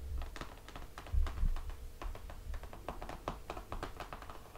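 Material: Cardboard.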